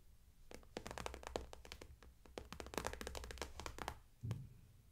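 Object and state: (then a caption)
Vinyl makeup bag, tapped with nails. Long manicured nails tap and scratch across a medium clear vinyl/PVC cosmetic bag with a white daisy print and pink zipper trim, lying flat and full of makeup brushes and products. Quick, dry plastic clicks come in irregular bursts over a soft crinkly rustle, ending with a duller low thunk.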